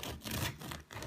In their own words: Dá para ouvir um pão bem crocante.